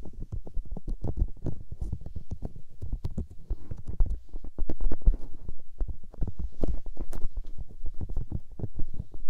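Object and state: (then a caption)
Silicone microphone ears being rubbed. Two hands with long painted nails cup and rub the soft, hollow white silicone ears of a 3Dio binaural microphone, fingertips and palms rubbing and pressing against them. The result is a steady stream of rapid, muffled, deep thumps and rustling brushes, heavy in low rumble with faint high scratchy edges. It swells louder in the middle and again near the end.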